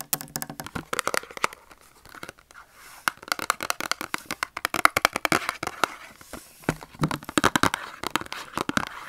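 A small closed Dove soap carton of thin cardboard, hollow with the soap bar inside, is held in both hands and tapped and scratched with short fingernails and fingertips. Quick, dry, papery taps and crinkly scratches come in dense bursts separated by brief quiet pauses, with no ring after each hit.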